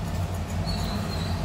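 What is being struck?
Nothing is struck.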